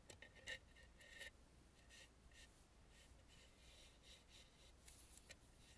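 Long nails tap and scratch on the face and mouth area of a red painted, hollow, carved wooden mask. The sound is quiet and dry, with short bright scratchy bursts and light clicks centred near 1.9 kHz over a faint low background hum.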